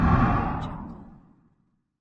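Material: Nothing is struck.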